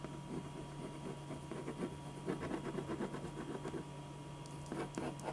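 A black pen draws short, scratchy lines across a single thin white sheet of drawing paper lying flat on a dark board. The quiet, brief strokes come in irregular bursts of soft, bright scratching over a steady low hum.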